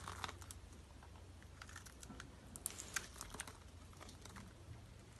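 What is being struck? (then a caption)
Bar of soap scraped with a metal blade. A metal utility knife blade scrapes along a solid purple bar of dry soap held in the hand and scored with a grid, shaving off small soap cubes. The result is quiet, rapid, crisp crunching and crackling with a few sharper bright snaps over a low steady hum.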